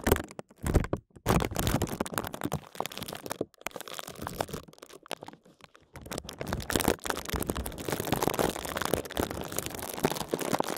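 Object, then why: Thin plastic bag wrapped around a computer mouse. A small computer mouse with a green light, wrapped in a clear thin plastic bag and held upright in both hands, is tapped and scratched fast with fingertips and short nails. The result is dense, dry crinkling and crackling taps with a soft low thump from the solid mouse under the film, broken by brief pauses near the start and middle.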